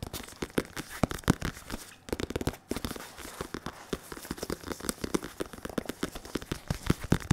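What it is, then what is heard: Synthetic leather boxing focus mitt. Fingertips of both hands, one of them latex-gloved, tap and rub the curved surface of a padded synthetic leather boxing focus mitt held in front of the chest. The result is a rapid, irregular stream of short, dry, low thuds with almost no ring, mixed with soft crinkly scratching from the rubbing.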